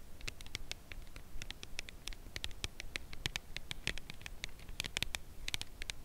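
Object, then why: Cardboard chocolate bar box. A red Lindt Lindor cardboard box holding a chocolate bar is held edge-up and tapped along its side with long acrylic nails. Dense, quick, dry clicking taps with a bright edge repeat steadily over a low, soft rumbling background.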